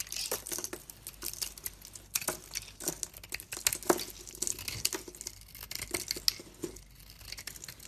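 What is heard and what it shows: A utility knife blade carves and scrapes a solid oval purple soap bar with a silver coating and a lilac inside, held in hand, leaving piles of curled shavings. Quick, crisp scraping strokes crackle and crinkle in rapid succession, mostly bright with little low end. Each stroke ends abruptly with almost no ring.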